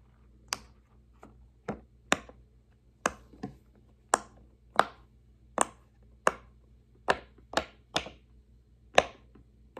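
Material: Silicone.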